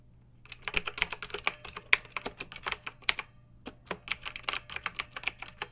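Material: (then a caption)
Plastic. Long-nailed fingertips type continuously on a pink backlit plastic mechanical keyboard with round keycaps. Its sharp, bright clacks are short and dry with no ring, coming in an uneven stream with a brief pause midway. A faint low hum sits underneath.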